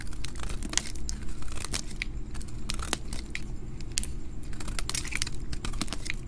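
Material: Soap.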